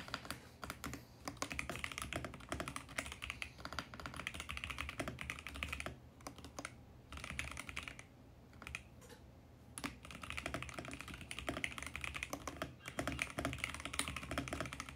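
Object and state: Mechanical keyboard with plastic keycaps.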